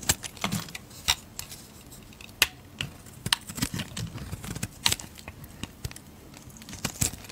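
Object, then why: Bar of soap scraped with a metal blade. A hand with long red nails holds a solid white soap bar while a metal utility blade scrapes and shaves flakes off it. Short, crisp, bright scraping ticks and snaps come at uneven intervals over a quiet background, each dying away almost instantly.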